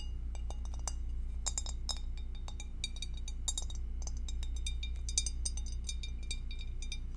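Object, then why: Glass food dish. Long acrylic nails tap quickly on an empty, hollow, clear glass two-compartment rectangular food dish held in both hands and tilted. The taps make short, bright, high clinks that die away almost at once, coming in a loose, uneven rhythm of about three to four per second over a steady low hum.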